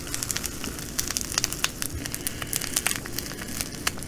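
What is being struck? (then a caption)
Plastic bag of glass beads. Long nails pinch and scrunch a plastic bag of green glass bugle beads, then lift and squeeze it, making dense crinkling with many sharp, bright clicks and rattles. The crackles come in quick irregular bursts over a steady low background rumble.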